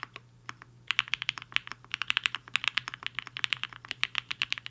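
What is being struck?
Mechanical keyboard with plastic keycaps.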